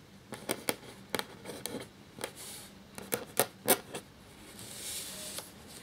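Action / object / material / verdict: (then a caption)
scrape / parchment paper sheet scratched by a quill nib / paper / none. A black feather quill nib writes on a thin, cream parchment-style paper sheet lying flat, making 11 short, dry, bright scratches in quick uneven strokes. Toward the end comes a softer, longer hissing scrape before the clip settles into a faint quiet scratch.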